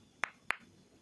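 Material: Frozen tomato.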